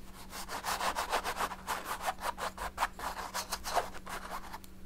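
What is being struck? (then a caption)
Paint brush on oil-painted stretched canvas. A paint brush is rubbed and scrubbed back and forth over the lower dark area of a large stretched canvas painted in oil paint. The result is thirteen quick, breathy scratching strokes with a bright, hissy texture, set over a faint steady low hum.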